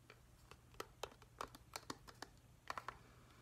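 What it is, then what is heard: Plastic night light. Fingertips and nails tap and scratch the white plastic underside and vent grille of a hand-sized, hollow plastic whale night light. Quick, dry, hollow clicks with bright edges and very short decay sound over a faint steady low hum and quiet scratching.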